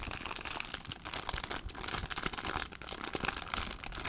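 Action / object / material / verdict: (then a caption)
scrape / clear plastic zip-lock bag / plastic / none. An empty clear plastic zip-lock bag is crumpled and crinkled by hand. It makes a dense, continuous crackle of bright, papery crinkles with sharp little snaps, and the texture rises and falls steadily throughout.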